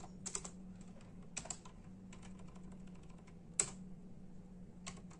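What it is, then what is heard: Plastic computer keyboard. Fingertips of both hands tap steadily on a full-size black and silver plastic membrane computer keyboard with hollow keys. The result is a run of short, dry, bright clicks in small clusters with quick decay, over a steady low hum, with one sharper, louder keystroke near the middle.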